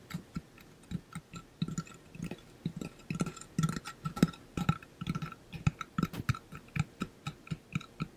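Fingernails tap and scratch on the painted surface of a hollow pink-blue ombre metal water bottle held up by the ear. Quick, irregular taps land as short, dull, hollow knocks with a low body and a faint metallic tone above. The taps come at a brisk, uneven pace with soft scratching between them.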